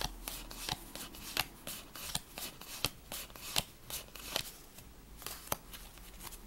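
A handheld deck of worn paper playing cards is shuffled and fanned by fingertips and thumbs, split into halves, with the cards sliding against each other. A rapid series of crisp, bright flicks and snaps rises over a soft papery rustle, each one dying away almost at once.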